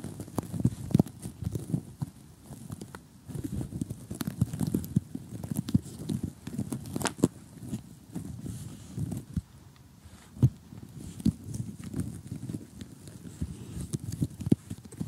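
Fingertips of both hands, with short glittery painted nails, tap rapidly across an assembled flat cardboard jigsaw puzzle of colorful houses. The result is a dense run of dull, low, muffled taps with a faint crackly texture, each one dying away almost instantly. A few sharper nail clicks stand out now and then.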